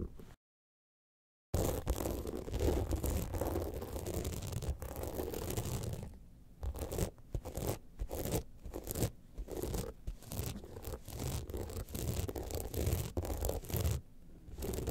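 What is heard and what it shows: Long nails scratch the studded side panels of an upright gold rhinestone-studded evening clutch bag turned at an angle, making a dense, crunchy, low-heavy scraping. After a short silence near the start, the scratching runs steadily, then breaks into choppier bursts with brief gaps.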